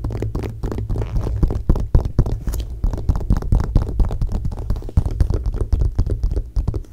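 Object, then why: Glossy paper magazine pages. Long painted nails tap and scratch across the pages of an open glossy paper magazine lying flat on a dark blanket. Quick, irregular taps about four per second blend with dry scratching strokes, all dull and heavy in the low end with almost no bright content. The sound stays close and steady, with each tap dying away instantly.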